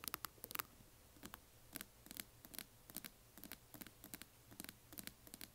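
Long nails tap and scratch the lid and sides of a closed, hand-sized, hollow yellow translucent glitter resin or plastic coffin-shaped box. Quick, dry, bright clicks and scrapes come in irregular clusters, each dying away almost instantly over a quiet low hum.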